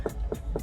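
Three quick knocks on the driver's door panel of a 2026 Mazda CX-5 give short, dull, hollow taps with little ring, confirming the trim is hard plastic rather than soft-touch padding. Background music plays underneath.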